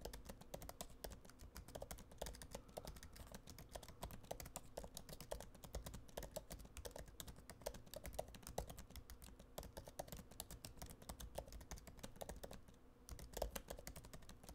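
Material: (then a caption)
Plastic. Fingertips type continuously on a MacBook Pro laptop keyboard with black plastic keys set in an aluminum body. The result is a steady, rapid stream of short, soft, muted key clicks that die away almost instantly over a low, dull background hum, with a brief lull near the end.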